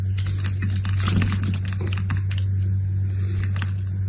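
A utility knife scrapes small cubes off a scored grid on a solid brown-and-cream striped bar of soap held in the hand. Quick, crisp clicking and scraping bursts, bright and uneven, come in a rapid run over a steady low hum.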